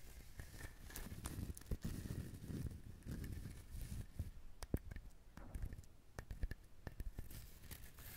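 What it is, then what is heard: Husked coconut. Fingernails scratch the fibrous surface of a whole brown husked coconut, producing a soft, dry rasping and crinkling texture. Sharp, brief clicks and taps stand out through the scratching, most of the energy low and quiet, with faint bright edges on the sharper clicks.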